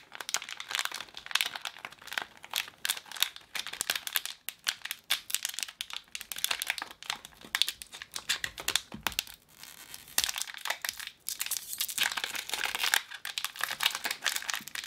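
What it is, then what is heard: Plastic foil packet crinkled. A small red Stikeez blind-bag packet made of plastic foil is crinkled and folded between fingertips and long painted nails while being opened. The result is a dense, continuous run of bright, crisp crinkling and crackling with almost no low end, rising and falling in bursts with brief pauses between.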